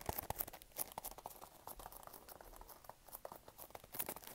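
A small, hollow, pink printed cardboard product box, held in both hands, is tapped and scratched with fingertips and nails. Quiet, quick, irregular taps mix with dry, papery scratching and crinkling, with brief bright clicks and no lingering ring.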